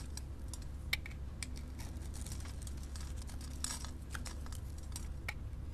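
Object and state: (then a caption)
Bar soap being scraped. A metal blade scores and scrapes small flakes off a solid white bar of soap with silver sequins held in the hand. Quiet, crisp scratching clicks and brief bright scrapes sound over a steady low hum, with a few sharper ticks standing out.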